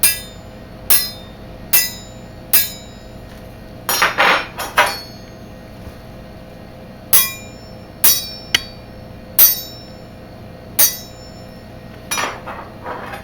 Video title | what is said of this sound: Bark River Rogue Bowie | all these, they ring beautifully